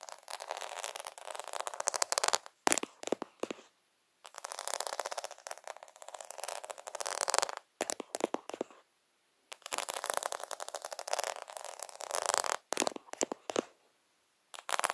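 Fingertips and nails tap and scratch across a flat plastic sticker sheet covered in rows of small, solid, half-round faux pearls, held close. The sound is a dense run of quick, dry clicks and scratchy rasps in bursts, bright with no low end, broken by short silences.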